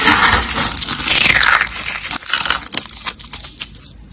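Purple and green dry glitter soap rolls and flakes, solid and brittle, are crushed in a hand. A dense, bright crunching fills the first two seconds, then breaks into scattered crisp crackles that fade as the pieces settle.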